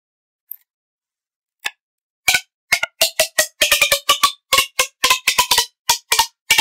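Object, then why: Corrugated plastic pop tube toy. Pink-nailed fingertips pull and push the ribbed sections of a blue, hollow, finger-thick corrugated plastic pop tube toy. Sharp, bright pops and clicks with a faint ringing tone around 1.1 kHz die away almost instantly. After two sparse clicks, they come in a quick, irregular run.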